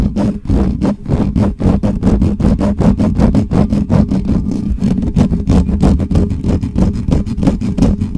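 Fingertips and nails of both hands scratch the top of the hollow metal mesh grille on a black Blue Yeti microphone, fast and aggressively. The result is a dense stream of rapid, uneven, boomy scuffing strokes, heavy in low rumble with a steady low hum beneath, and almost no high or bright content.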